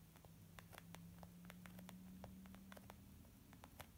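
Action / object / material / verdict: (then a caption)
tap / small leather zip makeup bag / leather / none. Long nails and fingertips tap on a small white textured leather zip makeup bag lying flat, soft and hollow. A quick, uneven run of light, dry clicks with brief bright edges sits over a steady low hum and faint background hiss, each tap dying away almost at once.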